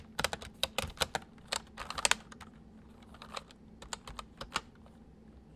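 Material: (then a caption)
Plastic. Both hands type quickly with their fingertips on a full-size white plastic mechanical keyboard with white keycaps, resting on a wooden desk. Sharp, bright key clicks come in fast, uneven bursts with brief pauses, over a faint low hum.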